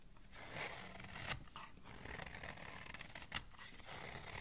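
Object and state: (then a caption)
Soap bar being shaved. A metal blade shaves fine curls from a solid pale yellow soap bar, making a steady, bright, dry scraping hiss. Two sharper, crisper cuts stand out partway through before the soft, continuous shaving resumes.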